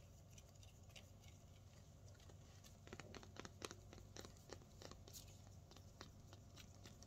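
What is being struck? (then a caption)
Snake plant leaf. Fingertips with painted nails tap and scratch a thick, firm, solid green-striped leaf of a potted snake plant. Quiet, dry ticks and soft scratchy patters come in irregular bursts, busiest in the middle of the clip. A steady low hum sits underneath.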